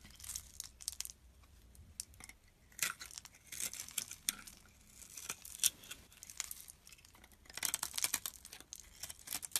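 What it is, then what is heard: Bar soap being shaved with a blade. A utility knife blade scrapes and shaves the surface of a solid red bar of soap held in the hand, and crumbs fall away. The sound is a quiet, bright, crackly scratching that comes in short, dry bursts with brief pauses between them and almost no low end.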